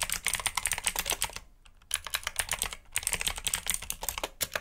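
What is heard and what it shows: Fingertips rapidly press the keys of a black mechanical keyboard with plastic keycaps and clicky switches. Sharp, bright clicks come in quick bursts, with a brief pause near the middle and a shorter one shortly after. Each click is crisp and ends almost instantly, with little low end.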